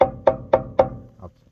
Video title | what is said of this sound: 83 #toyota Frame and Flat Deck Project Part 2 | This is what it should sound like if this part's good.